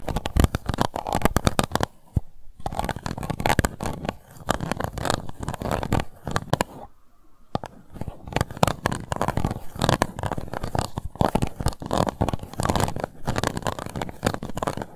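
Long white nails scratch the embossed bottom of an empty, hollow, transparent pink plastic cup. The result is a dense run of rapid, dry scratching with a hollow, low-heavy body, broken by brief pauses near 2.5 and 7 seconds.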